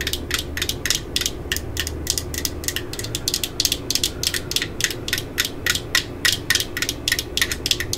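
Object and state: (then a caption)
Hard plastic drill battery pack. Long glitter nails tap and scratch the ribbed side of a black hard plastic 18V drill battery pack held in the hands. The result is dozens of quick, dry, bright clicks and scrapes in an uneven rhythm, each dying out almost at once, over a faint low hum.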